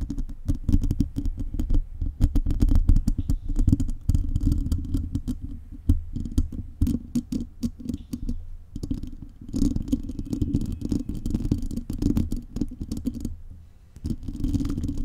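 Long nail tips scratch and tap a metal mesh microphone grille, producing a dense, close-up stream of rough, low, thumping scrapes and quick clicks. The rustling runs nearly continuously for about 15 seconds, easing briefly around the middle and again near the end before picking back up.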